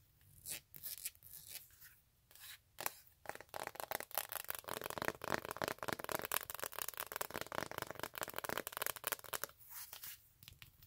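A silver glitter stiletto sandal is held in the hand while long nails scratch its glitter toe strap and sole. A few soft, sparse scrapes open the clip, then give way to a dense run of fast, crisp scratching and rasping with a bright, gritty texture, which thins out again at the end.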